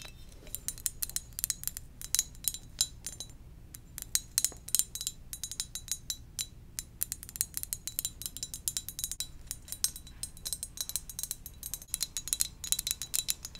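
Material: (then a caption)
Ceramic. Gentle tapping on a ceramic donut-shaped mug produces a steady run of quick, bright clinks and ticks with almost no ring. The taps sit over a faint, low background hum.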